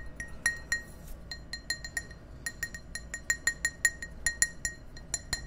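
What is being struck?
Glass tumbler.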